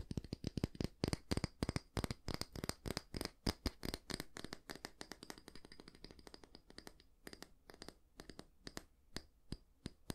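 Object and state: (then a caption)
Wooden hair brush. Fingernails tap and scratch the solid wooden back of a small oval bristle hair brush, then scratch across its bristles. The result is a rapid series of short, dry clicks and taps with bright scratchy edges that die away almost instantly, loudest in the first half and thinning into sparser, quieter taps toward the end.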